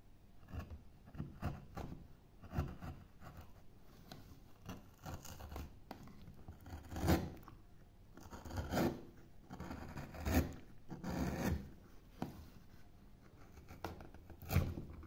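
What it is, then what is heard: Pale wood block being carved. A gouge scoops and scrapes the carved area of a solid, pale oval wood block in repeated short strokes, scattering chips on the bench. The strokes sound like dull, low, rasping scrapes, with several louder, sharper scoops standing out from the quieter scratching.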